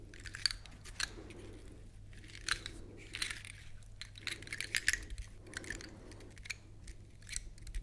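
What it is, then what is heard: Large dry pine cone. Long acrylic nails scratch along the scales of a large, dry, woody pine cone held upright close to the microphones. The result is quiet, dry, crackly scraping in repeated strokes, with sharp bright clicks over a faint, steady low hum.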